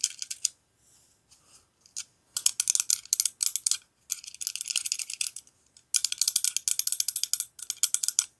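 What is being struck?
Steel kitchen knife blade.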